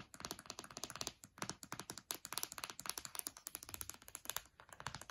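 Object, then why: Aluminium laptop palm rest, glass trackpad and keys. Long dark nails tap rapidly on the aluminium palm rest, the glass trackpad and the keys beside them on an open MacBook Air lying on a bed. About 39 quick, bright clicks and taps come in uneven bursts, each dying away almost instantly, with little low end.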